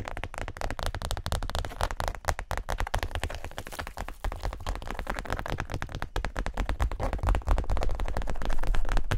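Long nails rapidly tap and scratch a small, closed, tan zip-around wallet, possibly faux leather. The result is a dense, irregular stream of short, dull, low-heavy taps mixed with crackly scratching, growing slightly louder toward the end.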